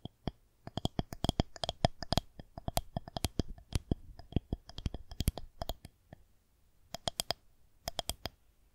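Long nails tap quickly along the top surface of a solid white plastic rolling pin held horizontally. The sharp, dry clicks come in irregular bursts, each with a bright edge over a soft low thump and no ringing. A brief pause comes just after six seconds before a few more scattered taps.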